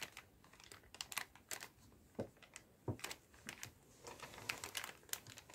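A clear plastic zip bag full of paper-stick cotton swabs is held in both hands, squeezed and shaken. The plastic crinkles brightly while the swabs rattle in quick, irregular clicks, with a few duller thumps mixed in over a quiet background.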